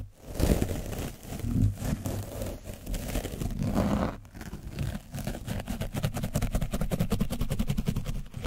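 A foam brush is scrubbed across an orange foam microphone cover coated with dried paint, giving dense, low, rumbling scratches and crinkles. The strokes speed up in the second half into a rapid, steady rhythm of short scrapes.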